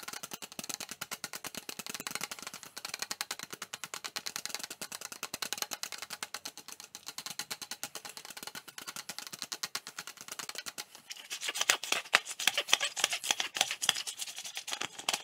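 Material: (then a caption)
Plastic. An empty, hollow, clear plastic drink bottle is held sideways in both hands while fingertips tap it quickly and rub along its body. The result is a steady stream of rapid, crisp, bright ticking taps with almost no ring or low end. Near the end the tapping grows louder and denser.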